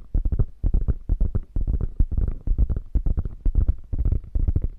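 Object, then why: Quilted faux leather bag. Long fingernails scratch across the quilting of a beige quilted faux leather bag with a padded, hollow body. The result is rapid, uneven bursts of dull, low-heavy scratching and thumping with very little brightness, each stroke stopping short with no ring.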